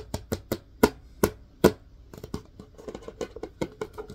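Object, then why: Plastic disinfecting wipes canister. A plastic disinfecting wipes canister, held sideways, is tapped and scratched on its body with fingertips. Several sharp, separate hollow taps come first, followed by a quicker run of lighter taps and scratchy rustling, each sound dying away almost instantly.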